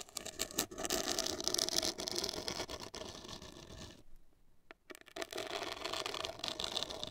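Long acrylic nails scratch the surface of a hollow, black printed cardboard cosmetic box, giving a dense, bright, papery scratching with quick irregular strokes. Near the middle the scratching stops for about a second, with only a couple of faint ticks, then resumes just as busy to the end.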